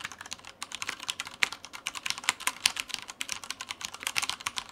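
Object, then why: Mechanical keyboard with plastic keycaps. A black Taipon Mars Pro tenkeyless mechanical keyboard with Cherry brown switches, plastic keycaps and a white frame sits on a white desk and is typed on continuously with the fingertips of both hands. A rapid, uneven stream of short, bright plastic key clacks is heard, each dying away almost instantly, with no low thump beneath them.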